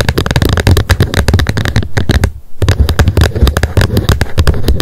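Long nails rapidly tap and scratch the plastic lid of a wet wipes pack lying flat on a mat. They make a dense stream of short, dull, low thuds with crisp clicky edges, and there is a brief pause just before the middle.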